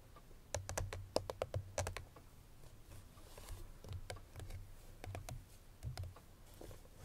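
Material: Paperboard.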